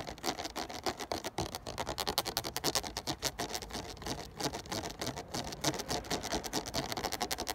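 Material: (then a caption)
Plastic. A ridged clear plastic 500 ml water bottle, full of water and held in hand, is scratched and tapped along its ridges with a fingertip and nail. Fast, irregular clicks and crackly scrapes run throughout, bright and crisp with very short decay and little low end.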